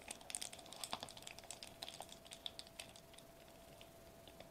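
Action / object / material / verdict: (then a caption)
tap / foil-laminated plastic bubble wrap / plastic foil / none. Fingertips with short nails tap rapidly on a sheet of foil-laminated plastic bubble wrap lying flat on a table, close up. A quick, uneven run of crisp, bright clicks and crinkly ticks sounds over a faint steady tone. The taps are dense at first, then thin out and grow softer toward the end.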